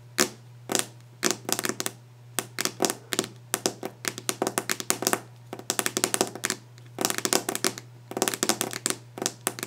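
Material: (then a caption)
Wood. Fingernail tips tap fast and hard on the solid, polished top of a varnished wooden desk, with some scratching across the surface. The taps come in quick, dense bursts of short, bright clicks that die away almost instantly, over a steady low hum.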